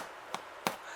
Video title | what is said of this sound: Cheese Crusted Damper recipe | you kind of flick it and see how it's hollow you got that hollow sound that means it's ready